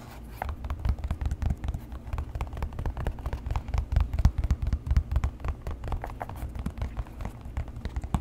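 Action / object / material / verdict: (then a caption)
tap / leather shoe upper / leather / none. Fingernails tap and scratch the leather upper of an empty tan leather boat shoe held beside the mic. A rapid, steady run of soft, dry taps and scratchy rubbing continues throughout, with a dull, low-heavy tone and almost no ring.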